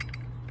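A weeding tool's riveted metal lever pivot, mushroomed on one end, is shaken, giving a quick metallic rattle over a steady low hum. The joint has a little looseness, which is why it rattles when shaken.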